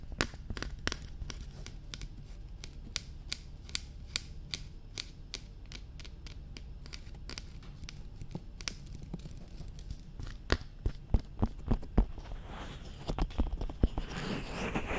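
Long nails tap rapidly and irregularly on the top and sides of a glossy black, hard plastic dummy head microphone, producing sharp, dry clicks over a low, dull thump. The taps grow louder and more clustered toward the end, with a faint scratchy texture between them.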